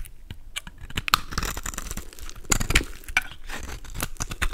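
A golden utility knife blade scrapes chunks and flakes off a solid, palm-sized pink soap bar scored with lines and held in the hand. The result is a run of short, dry scraping and crunching strokes with crisp, bright edges. Each stroke dies away almost at once.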